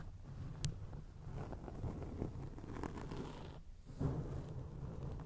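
Long acrylic nails scratch across a round grey foam windscreen on a microphone, producing a dense, low, rumbling scrape with soft crackles and a brief bright tick near the start. The scratching runs steadily, drops away for a moment just before the four-second mark, then resumes at the same muffled level.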